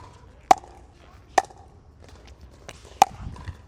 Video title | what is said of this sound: RPM Pickleball Paddle Review - Founded By Pro Player James Ignatowich | I think it sounds nice and you get a little bit of a softer feel.